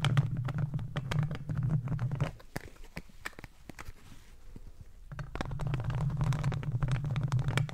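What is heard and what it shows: Plastic claw tips on green and black gardening gloves scratch the hollow metal mesh grille of a microphone. The result is a dense, booming low rumble with quick bright ticks, which drops to a quieter stretch of sparse clicks in the middle. The heavy scraping then returns for the last few seconds.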